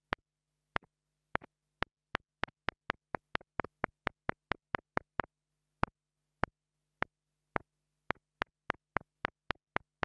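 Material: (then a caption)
Plastic. A wooden stick held by long-nailed fingers taps a small black plastic mini lavalier microphone close up. It makes a long, irregular series of sharp, dry, bright clicks, each often followed by a softer rebound tick. A faint low steady hum runs underneath.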